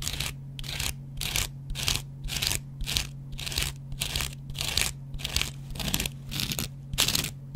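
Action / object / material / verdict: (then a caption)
scrape / cellulose foam sponge with scouring pad / cellulose foam / none. A metal double-edge razor blade scratches the yellow cellulose foam side of a hand-sized, dry kitchen sponge with a green scrub layer. It makes bright, crunchy, rasping strokes in a steady back-and-forth series of bursts over a faint, constant low hum.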